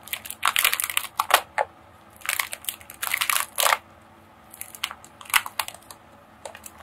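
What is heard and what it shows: A long roll of silver holographic foil wrapping paper, shaped like a hollow tube and held in both hands, is squeezed and scratched with fingertips and long painted nails. The foil gives off bursts of bright, dry crinkling and crackling, separated by short quiet pauses, with almost no low end.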